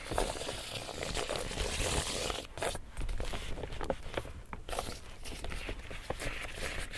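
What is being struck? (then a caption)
Woven plastic tote bag. Fingers scratch and rub the front face of an empty, large pink woven plastic tote bag with grey handles. The result is a dense, bright crinkling and scraping rustle, with brief dips around the middle.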